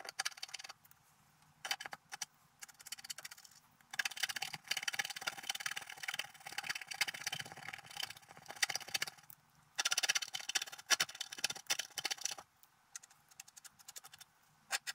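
A wooden stylus scratches across a flat coated scratch-art paper card lying on a table. It makes dry, bright, rasping scratches in short strokes and longer continuous passages, broken by brief quiet pauses.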